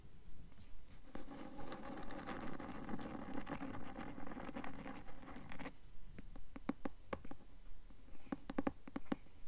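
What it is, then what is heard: Cloth-bound hardcover book. Long nails scratch and tap the cloth cover of a closed, medium-sized blue cloth-covered hardcover book held upright. A steady, rhythmic stretch of dense scratching with a low hum-like body gives way to sharp, separate taps with short, dry decay.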